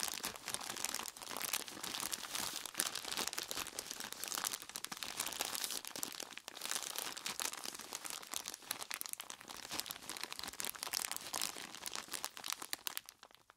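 Hands in purple nitrile gloves squeeze and crunch a large clear plastic bag full of crushed ice. A dense, steady stream of bright crinkling and crunching runs throughout with almost no low end, then it thins out and fades at the end.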